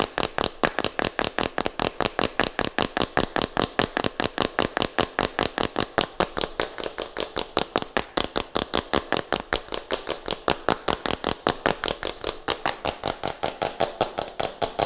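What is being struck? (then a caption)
Plastic jar with screw lid. Fingertips and nails tap, scratch and twist the white plastic screw lid of a small, hollow plastic jar in close-up. Some 76 sharp, dry, hollow clicks sound in a fast, slightly uneven stream. Each click is bright and mid-pitched with almost no low end and dies away at once.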